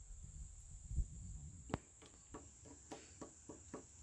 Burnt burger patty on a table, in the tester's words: You hear that? See? It's hard as rock.